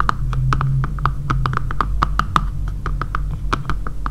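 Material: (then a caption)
Plastic. Long painted nails tap rapidly on the back of a dark grey matte plastic phone case with a camera cutout, lying flat on a table. About twenty-two short, crisp clicks ring around 1.2 kHz with bright edges over a steady low hum.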